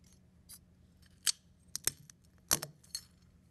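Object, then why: Eggshell fragments on a ceramic plate. Fingertips press and crush thin, brittle brown chicken eggshell fragments with white inner lining, spread on a blue-and-white ceramic plate. About seven sharp, bright crackles and snaps come at irregular intervals over a quiet background, each dying away almost instantly.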